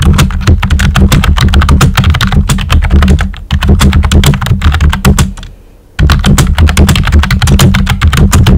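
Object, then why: Plastic computer keyboard with round keycaps. Fingertips with short nails type quickly on a pink and white plastic computer keyboard with round typewriter-style keycaps and hollow keys. The result is a dense run of clacky keystrokes with a deep, hollow low thud under each press. The typing briefly fades out near the five-second mark, then resumes at full pace.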